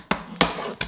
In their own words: Sounds hollow when I tap it.